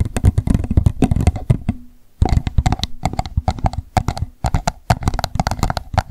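An empty pink plastic cup, turned upside down, is tapped rapidly on its sides and base with long nails. The taps form a dense stream of short, dry clicks with a hollow low thump, broken by a brief pause near two seconds before the fast tapping resumes.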